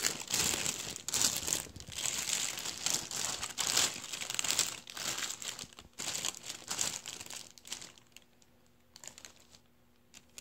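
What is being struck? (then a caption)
Metallized mylar foil balloon. Fingertips rub and crinkle the surface of a deflated blue metallized mylar star balloon lying flat and creased. Bursts of bright, crisp crinkling come in uneven waves, almost all of it in the high range. After about eight seconds the sound thins to a few scattered soft crackles.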